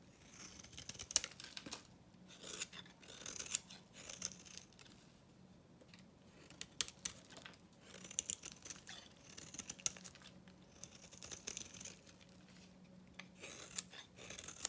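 A pink, painted, dry solid bar of soap is held in the hand while its surface is scraped with a metal knife blade, shaving off flakes. Quiet, bright, crisp scratching and crackling comes in repeated bursts of rapid ticks, with brief pauses between strokes.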